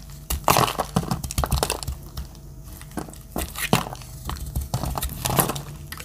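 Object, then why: Bar of soap. A metal utility-knife blade cuts into a solid, palm-sized, pale yellow Dettol bar soap that is dry, cracking off dry chunks and curls. Crisp cracks and crunchy scraping bursts come in quick, uneven succession, bright on top with a dull low thud under each cut, and each sound dies away quickly.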